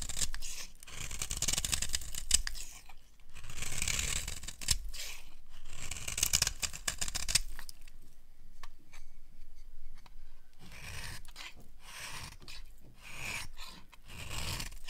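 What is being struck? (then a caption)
Bar of soap scraped with a small metal blade. A small metal blade repeatedly scrapes and carves flakes off the corner of a solid, hand-sized rectangular bar of dry yellow soap held in one hand. Bursts of crisp, bright scraping and crumbling alternate with brief pauses, and the cutting grows quieter and sparser midway before picking up again.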